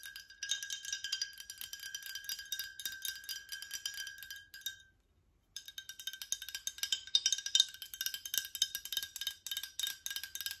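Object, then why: Glass bottle, partly filled. Long nails rapidly tap a tall cylindrical glass water bottle with a metal or plastic cap, partly filled with yellowish liquid. The result is a dense stream of bright, crisp glassy clicks with a faint high ring, a brief silent pause near the middle, then quicker, louder tapping.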